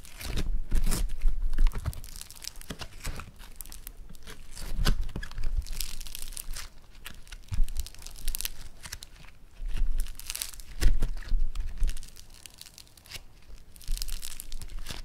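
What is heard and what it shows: Yellow floam foam-bead clay is lifted, crumpled and squeezed in the hands, giving a crunchy crackle. Dense bright crackling comes in repeated bursts over about 15 seconds, with soft low handling thumps underneath and quieter pauses between squeezes.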